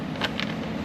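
Two light taps on the plastic engine valve cover of a Jaguar XF give short, hollow knocks with a thin, vibrating plastic tone over a steady low hum. The cover sounds hollow and thin, which is expected since it is hollow by design.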